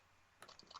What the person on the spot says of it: you can hear the spring